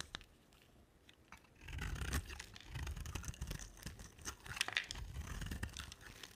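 A box-cutter blade shaves curls off a solid rectangular white, cream-toned bar of soap. After a near-silent start with a few faint ticks, a steady dry scraping and crunching sets in at about 1.7 seconds, built from quick, gritty strokes with bright edges and a low rumble underneath. It runs to the end with no ring after each stroke.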